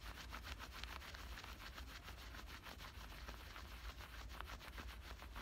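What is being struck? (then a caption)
Cotton denim shorts pockets. Fingertips and nails scratch and rub at both front pockets and their stitched edges on soft black cotton denim shorts worn on the body. A steady, quiet run of quick, dry scratching strokes gives a bright, hissy texture over a constant low rumble, with no pauses.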